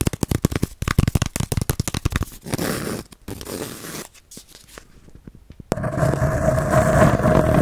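Fingernails scratch along the fibrous surface of a palm-sized, round, flat baren (a woodblock printing pad), a solid disc covered in dry bamboo sheath. About two dozen quick, dry, crackly strokes come first, then slower, softer rasping scrapes with near-silent gaps. It ends in a louder, continuous scratching that runs to the end.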